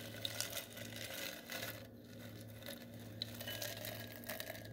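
Small gold glitter styrofoam balls in a glass bowl are stirred and massaged by fingers, giving a soft, continuous rubbing and crinkling hiss. Faint bright ticks and clicks rise over a steady low hum.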